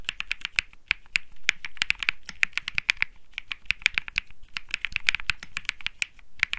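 Fingertips type on a compact mechanical keyboard with an aluminum case, PC plate and plastic keycaps. It makes a steady run of short, crisp key clicks, bright and clacky around 2.4 kHz, with a soft low thock beneath and almost no ring after each stroke.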